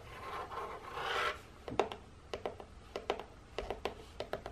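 Fingernails and fingertips rub and scratch the end and side of an open printed cardboard box of gingerbread biscuits held in both hands. A soft, swelling papery rasp comes first, followed by about fifteen sharp, dry scratches and clicks at an uneven pace.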